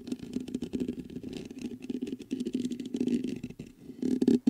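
Fingertips tap rapidly on the top of the mesh grille of a black metal USB microphone. The result is a dense run of muffled, close-up thuds centered around 230 Hz, with faint bright ticks and very short decay. The tapping gets louder toward the end.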